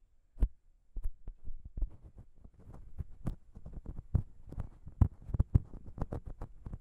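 Long pink nails on both hands scratch and tap the small chrome metal microphone capsules of a Zoom H6 recorder. The result is a quick, uneven run of short, dull, thumpy taps with soft scratching in between, heavy in the low end and dying away almost instantly.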